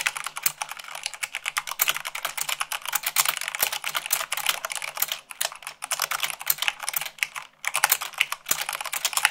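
Fingertips with long pink nails type fast on a full-size mechanical keyboard with white plastic keycaps on a black frame. The result is a dense, steady stream of sharp, bright, clicky keystrokes with very short decay and almost no low end, with a brief pause near the end.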